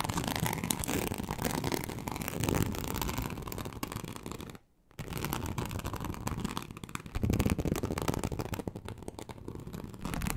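Long acrylic nails slowly and deeply scratch a large, flat, teal snakeskin-embossed leather sheet. The result is a dense, continuous rasping texture, heavy in the low end, with a brief silence near the middle before the scratching resumes, louder in places.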